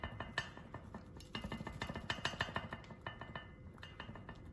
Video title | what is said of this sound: AWR Race Motor Mounts (Ford Focus ST) | if i shake this mount you can hear the uh ... you can hear the looseness and the jiggle ... so you can tell that's not very solid